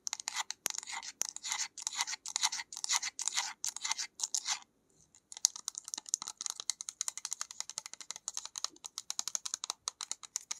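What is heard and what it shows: Long nails tap and scratch the cap and label of a small white plastic bottle. The result is a steady stream of rapid, bright, dry clicks and scratchy rasps with no low end, pausing briefly just before the five-second mark before resuming.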